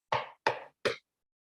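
Knuckles knock three times on a solid antique wooden table. Each knock is a short, dry rap centered in the mids around 900 Hz. The knocks decay quickly with almost no ring.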